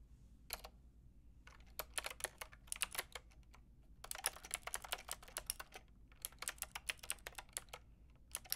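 Fingertips with long red nails tap on a Lofree plastic mechanical keyboard with a plastic frame and round keycaps. Quick, bright, clicky keystrokes come in uneven bursts separated by brief pauses, each tap dying away almost instantly over a faint low hum.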